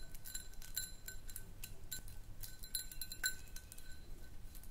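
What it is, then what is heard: Glass jar. Long nails tap and click on a small, round, empty clear glass jar, making a quick, uneven run of light clinks. Each tap is a short, bright glassy ping with a steady ring around 1.5 kHz that dies away almost at once, over a faint low hum.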